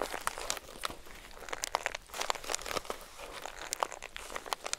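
Long acrylic nails tap and scratch across the marbled cardboard cover of a composition notebook and press its block of thick crinkled paper pages. The result is a continuous dry crinkling and crunching, scattered with sharp, bright clicks and scratchy bursts.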